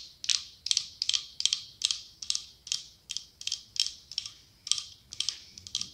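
A cylindrical glass candle jar with autumn leaf decals, filled with pale wax, is tapped and scratched with long acrylic nails. The result is a steady series of quick, bright, high-pitched clicks with short scratchy tails and no low end.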